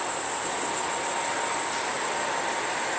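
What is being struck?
Nothing is struck.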